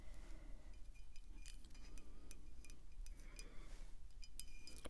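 Long acrylic nails tap the body of a full, full-size dark glass wine bottle held at the side, producing quick, light clinks with bright, short-lived tones. A constant low hum sits underneath the scattered taps.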